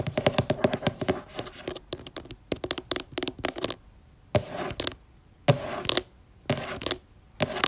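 Long nails and fingertips tap on the cover of a purple laminated cardboard board book lying flat. A quick run of sharp, dry clicking taps comes first, then the sound shifts to longer, scratchy bursts with short quiet gaps between them.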